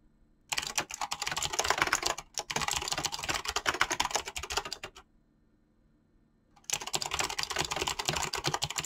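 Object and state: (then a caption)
Mechanical keyboard with PBT plastic keycaps. Fingertips type fast on a mechanical keyboard with dyed PBT plastic keycaps and clicky switches, giving dense bright clacking in quick bursts. The typing stops for about a second and a half in the middle, then resumes at the same pace.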